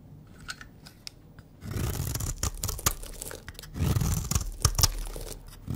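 A pink oval Dove bar of dry solid soap, held in the hand, is scraped and cut with a utility knife blade into crumbly shavings. A few faint clicks give way to long, dense bursts of crunchy, tearing scraping with sharp cracks and bright crackle over a heavy low rumble. The dry soap breaks away as crumbly shavings.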